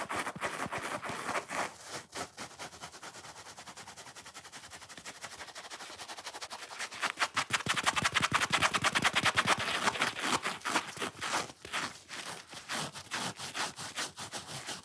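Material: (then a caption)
Foam. Long fingernails scratch quickly along the grey-white edge of a solid, watermelon-shaped foam sponge. The result is a fast, dense run of dry, crackling scrapes with a bright, hissy texture and almost no low end. The scratching grows louder and busier in the middle before easing into more spaced strokes.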